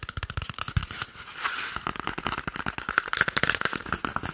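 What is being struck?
Cardboard paper roll tube.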